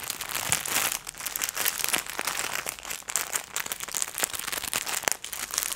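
A clear, thin plastic packaging bag holding hand-sized, soft pink fluffy plush gloves is held in both hands with long nails and squeezed and crinkled close to the microphone. It gives a continuous, bright crinkling crackle full of sharp, quick-decaying snaps with almost no low end.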